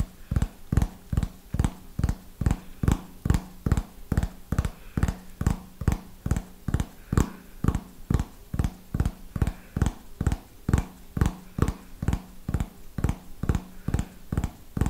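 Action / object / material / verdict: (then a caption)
tap / hardcover notebook cover / cardboard / none. A small red hardcover notebook, held upright, is tapped on its cover with fingernails in a steady rhythm. About 35 short, dull, low-pitched taps follow each other with almost no ring, at roughly two per second.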